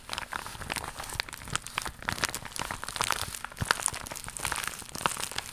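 Long pink nails scratch across the bumpy surface of an iridescent, crocodile-textured holographic faux leather vinyl pouch held in front of the chest. The result is a dense, continuous run of crisp, crinkly scratches and small clicks, bright and thin with very little low end.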